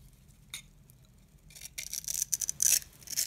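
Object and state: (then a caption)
Dry soap bar being carved. A metal box-cutter blade scrapes and carves a grid into the surface of a solid, hand-sized yellow oval bar of dry soap held in the palm, producing crumbly yellow shavings. After a faint early scratch, a run of bright, crisp, dry scraping strokes with almost no ring builds and grows louder toward the end.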